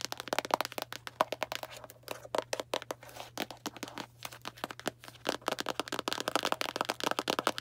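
Long black nails tap quickly on a small Arm & Hammer cardboard baking soda box, making a rapid, uneven string of dry, crisp clicks and crinkly cracks. A faint steady low hum runs underneath.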